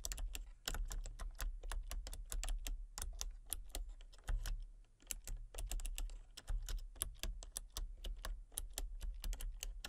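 Fingertips and long painted nails type rapidly on a full-size backlit plastic computer keyboard with hollow key switches and colour-cycling lights. Quick, bright clicks patter in an uneven stream, each one dying almost instantly over a soft, hollow low thud from the keys bottoming out.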